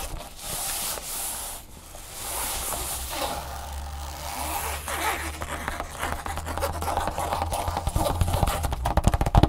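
Fingertips and long nails scratch and tap across the fabric of a large, flat, empty red nylon drawstring bag lying on a wooden table. Soft, hissy scratching and rubbing sweeps come first over a steady low hum, then give way to quicker, sharper tapping that grows louder toward the end.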